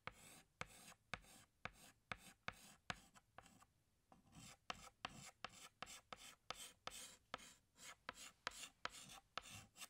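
A hand scratches a green chalk stick across a large flat black chalkboard while drawing leaves, making about 22 quick, bright, scratchy strokes, each starting with a sharp tap. There is a short pause a little before the middle, then the strokes resume at a steady pace.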